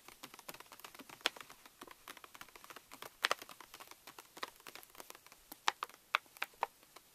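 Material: Plastic foil.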